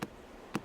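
Two knocks on a century-old drowned spruce trunk standing in Lake Kaindy give short, hollow thuds centred near 200 Hz that die away almost at once. The trunk sounds hollow because the tree has been dead and withered for a long time.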